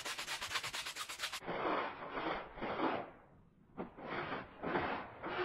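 A green plastic-bristle push broom scrubs a small, oval, red, fringed woven fabric rug that lies flat on a concrete floor, soaked and soapy. It opens with a quick run of short, bright, rapid scrubbing strokes, then shifts to slower, fuller wet swishes with a brief pause before they resume.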